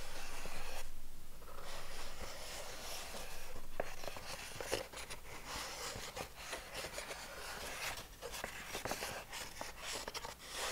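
An empty grey molded paper pulp egg tray, hollow cups facing up, is held in front of the body while fingertips and short nails scratch and tap across the cups. The result is a quiet, continuous dry scratching and rustling with a bright, papery hiss, broken by soft, dull taps at an uneven, fairly quick pace.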